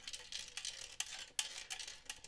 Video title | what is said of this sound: Are cheap power supplies any good for audio - Part II | I'm thinking there's a screw that's rattling loose inside